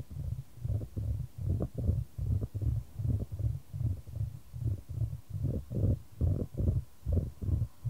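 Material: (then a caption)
Wood. A solid, light wooden ball rolls around a shallow square wooden tray held in white-gloved hands, the tray tilted to send it back and forth. Low, hollow rumbling rolls come in repeated bursts, each ending in a soft knock as the ball meets the tray's edge. The sound stays deep and muffled throughout.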